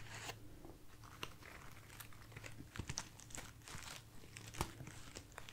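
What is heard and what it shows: A bunch of light, soft white artificial foam roses is held in the hand and scratched and rubbed with long nails and fingertips. The result is quiet, dry crunching and crinkling with bright, brief scrapes and a few sharper clicks, over a steady low hum.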